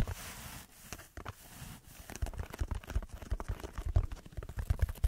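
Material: Foam.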